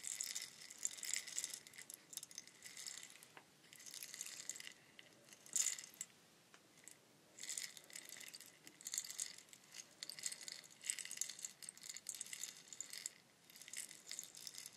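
A long, hollow, mottled bamboo rainstick is held horizontally and tilted so the fill inside trickles and rattles down its length. It makes a soft, bright, hissing patter of tiny clicks that swells and fades in repeated waves, with brief quiet gaps between tilts and almost no low end.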